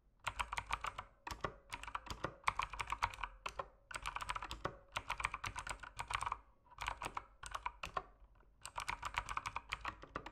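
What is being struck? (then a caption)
Mechanical keyboard with plastic keycaps. Fingertips type steadily on an RGB mechanical keyboard with plastic keycaps. The result is a dense stream of short, bright clicks in quick bursts separated by brief pauses, each click dying away almost instantly.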